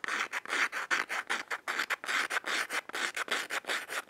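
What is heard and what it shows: Long fingernails scratch and rub along the brown striking strip on the side of a small yellow cardboard matchbox, held closed in the hand. About 22 short, dry, raspy strokes come in an uneven rhythm, each a bright, hissing scrape centered in the upper mids with no low end, and each stops almost instantly.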